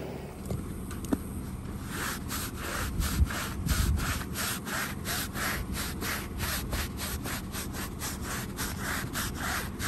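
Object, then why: Woven fabric area rug scrubbed with a stiff-bristled broom. A long-handled push broom with a wooden head and stiff bristles scrubs back and forth across a small, flat, woven fringed rug with a patterned pile, lying wet and muddy on a plastic sheet outdoors. Steady, rhythmic bright swishing strokes run over a constant low rumble, with a couple of brief sharp knocks early on.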